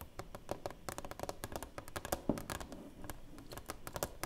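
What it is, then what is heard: Framed plaque with clear plastic cover. Long painted nails tap and scratch across the flat clear plastic cover of a black-framed award plaque standing upright on a table, with a silver play button held behind the cover so the space behind it is hollow. The result is a quick, uneven run of light, dry clicks that die away almost instantly, with soft scratchy brushing between them and a faint hollow low body to each tap.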